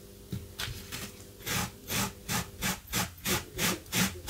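A gloved hand scrubs a blue, low-pile textile carpet runner lying flat on the floor with debris on it, using a small yellow-handled wire brush. Twelve rhythmic, bright scratchy strokes rasp across the fibers at about three per second, each a short broadband swish over a faint low hum.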